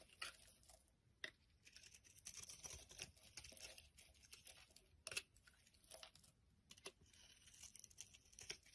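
A utility knife blade scrapes and shaves the surface of a solid amber translucent glycerin soap bar held in the palm. The result is a quiet, bright, crackly scraping texture made of dense tiny ticks, with a few sharper louder cuts standing out.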